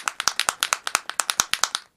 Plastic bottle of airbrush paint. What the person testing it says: it sounds a lot thinner in this